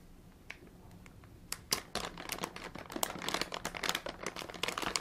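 A large soft plastic bag with green and red printed text, apparently filled with soft contents, is held in both hands with bare fingertips and shaken and squeezed. After a quiet start, dense bright crinkles and sharp crackles build and continue to the end.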